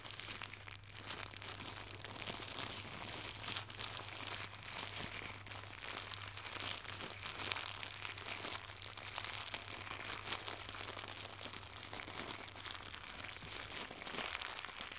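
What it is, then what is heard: Plastic gift bow being crinkled. Fingertips with long red-painted nails crumple and squeeze a small, soft, flat and hollow white crinkly plastic gift bow held in both hands. Dense, bright crackling and crinkling runs continuously, with a faint steady low hum underneath.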